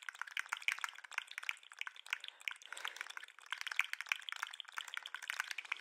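A green and white jointed plastic lobster toy is dangled by its claws and shaken, its segments clattering against each other. The result is a dense, irregular stream of quick, dry, bright clicks with no low end and a brief softer lull near the middle.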